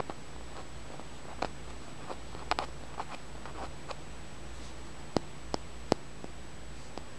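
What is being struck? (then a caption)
Small flat tumbled stone. Fingernails tap and scratch a small, solid, flat green tumbled and polished stone held in the hand. Quiet, irregular, sharp clicks and brief scratches sound over a steady low hum and a faint, constant high-pitched tone, with a few louder taps near the end.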